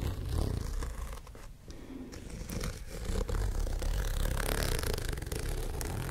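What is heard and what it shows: Long painted nails scratch and rub across the rows of small dark studs on a flat white zippered faux-leather pouch held close to the microphones. The result is a dense, rapid texture of scratchy clicks and rasps. It quiets briefly around the one-and-a-half-second mark, then grows louder and busier through the second half.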